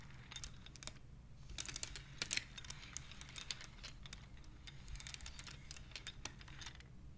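Long nails and fingertips slide and click the colored, painted wooden beads along the rods of a wooden abacus. A rapid, uneven run of short, bright clicks and clatters rises and falls in bursts over a steady low hum. Each click dies away almost instantly.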